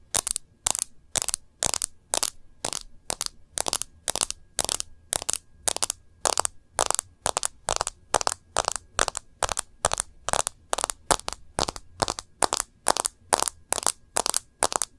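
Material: Glass.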